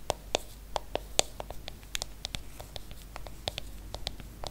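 Long acrylic nails tap and scratch the aluminium back of a silver iPhone, a small hollow handheld device held up in the air. About sixteen quick, sharp clicks sound over 4.6 seconds, each with a faint metallic ping near 600 Hz and a bright high edge that dies away almost instantly. Soft scratching and a low hum fill the gaps between the taps.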